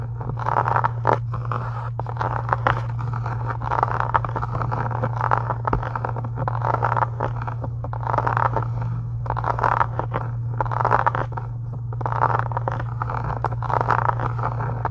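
Long acrylic nails scratch along the sides of a solid, pink embossed faux-leather book cover, producing repeated dry scraping bursts centered in the midrange. A steady low hum runs underneath the whole time.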